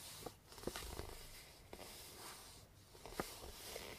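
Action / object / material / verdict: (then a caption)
tap / small cardboard box wrapped in paper / cardboard / none. Long blue nails and fingertips tap and scratch the sides of a small, hollow cardboard gift box wrapped in pink star-print paper with a purple ribbon. Soft, quiet taps with short, dull knocks are heard over a continuous, bright, papery scratching rustle.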